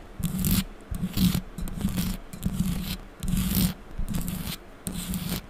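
Long pink acrylic nails and fingertips rub and scratch the hollow metal mesh grille of a bare microphone. Quick, uneven bursts of scraping friction repeat about once a second, each carrying a heavy, boomy low hum around 176 Hz with a bright, hissy edge on top.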